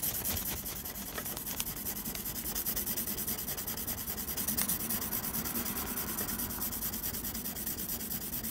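A blue mechanical pencil held in the fingers scratches dense graphite hatching across a flat sheet of textured drawing paper. The result is a continuous, bright, raspy scratching at a steady low level, with a faint low hum underneath and a few sharper ticks of the lead.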